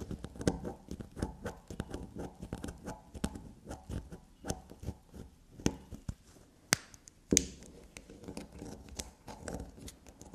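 A solid black unicorn-shaped soap bar resting on a table is scratched and tapped with long black nails. Quick, soft, dry scratching and scraping strokes alternate with sharper tapping clicks that carry a bright edge.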